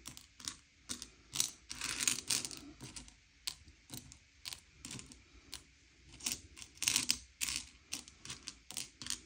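Fingertips slide and push a pile of small, hard, sugar-shelled M&M's candy-coated chocolates around a grey plate, sorting them by colour. The candies give off quick, dry, bright clicks and light rattling as they knock together and scrape across the plate. Some bursts are sharp and separate, others are busier clusters, and each dies away almost instantly with hardly any low end.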